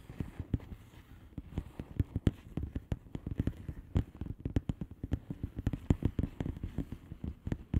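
Long nails tap the bubbles of a flat blue plastic bubble wrap envelope with both hands. The result is a rapid, uneven run of short, dull, low taps with no ringing tail and almost no bright content.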